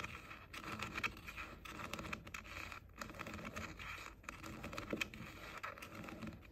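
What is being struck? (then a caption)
Plastic over-ear headphone ear cups. Short nails tap and scratch quickly across the hollow pink plastic ear cups of JBL over-ear headphones. The result is a dense run of crisp, bright clicks and scratchy rustling with almost no ring, level and continuous throughout.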